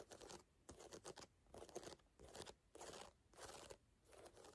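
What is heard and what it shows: Long nails tap and scratch across the solid ridges of a brown ridged rubber sneaker outsole, heard close up. Bursts of dry, bright scraping alternate with short quiet gaps, and crisp taps sit within the scratches.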